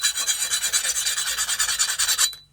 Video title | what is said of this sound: Making a Custom Chef's Knife WITHOUT fancy tools! | you can hear that high-pitched ping sound, which is good. I can already tell that this blade definitely got hard